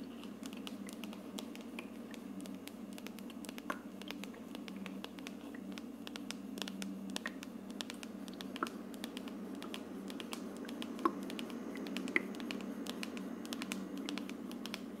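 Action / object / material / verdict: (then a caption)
tap / plastic aroma diffuser dome / plastic / none. Long dark nails tap and scratch the hollow frosted plastic dome of an aroma diffuser with a wood-grain plastic base, held in the hands. Quiet, irregular scratching and light clicky taps run over a steady low hum, with a few sharper, brighter ticks standing out.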